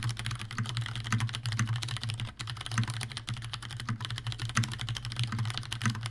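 Continuous two-handed fingertip typing on a Leopold FC750R tenkeyless mechanical keyboard with Cherry brown switches, a plastic case and keycaps, and a hollow housing. Rapid, dense keystrokes give bright, clacky ticks with short, hollow thocks over a steady low hum.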